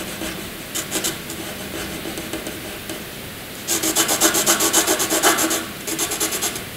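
A wooden graphite pencil shades small rectangles on white paper with rapid scratching strokes. Soft, steady scratching gives way at about 3.7 seconds to louder, quick back-and-forth strokes with a bright, raspy hiss, then eases slightly before rising again near the end.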